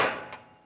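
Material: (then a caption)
Steel. A hammer strikes a bearing installer to drive a new steel rear axle bearing into the axle housing of a 2011–2018 Ram 1500. A single sharp metallic tap is heard, centered around 1 kHz, and it rings out over about a fifth of a second. The changed sound of the tap shows the bearing has bottomed out, fully seated, and will not go any further.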